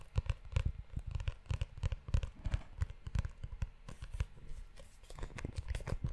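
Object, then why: Leather-covered notebook. Fingertips tap and scratch the spine and cover of a closed brown leather-bound notebook, making a fast, irregular stream of soft, dull thuds. Faint brushing and rubbing sounds run between the taps. The hits are mostly low and muffled, with brief brighter scratchy edges.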